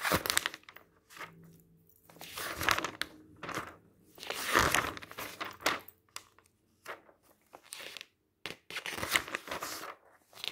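Fingertips lift and turn the thin pages of a large open paper magazine lying on a table. Bright, crinkly rustling comes in short bursts separated by near-silent pauses, with a faint low steady tone underneath.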